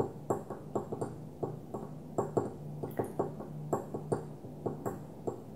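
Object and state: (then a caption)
Glass perfume bottle. Fingernails gently tap a small opaque white glass perfume bottle lying on its side, producing a quick, irregular series of light clicks with a soft pitched ping around 400 Hz. Each tap dies away almost instantly over a steady low hum.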